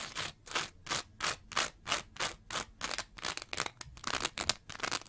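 Long nails scratch a green layered foam scrub sponge with a bumpy texture and a pale foam layer. Each stroke gives a bright, dry, rasping burst with almost no low end, repeating in a fairly steady rhythm of about three per second. Toward the end the strokes come quicker and more irregular.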